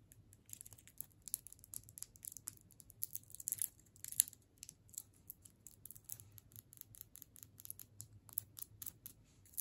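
A solid hard sugar candy cane in clear plastic wrap is held in the hands and tapped and scratched with long nails. Quiet, rapid, bright clicks and crinkly plastic scratches come in a steady irregular stream, each dying away almost instantly over a faint low hum.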